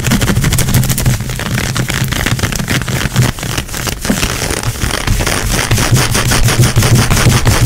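Long acrylic nails quickly scratch and rub dark grey-brown, stretchy nylon-spandex leggings worn over a leg. The result is a fast, irregular stream of dense, bright scratching crackles over a steady low rumble, holding at a fairly constant level throughout.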